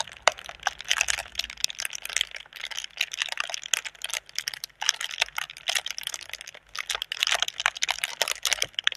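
Long red nails tap and scratch the taut film of a clear, inflated plastic air-cushion packaging tube with green print, held hollow in both hands. The result is a steady stream of quick, dry, crackling clicks and crinkly scratches, bright and hissy with almost no low end, with brief pauses between flurries.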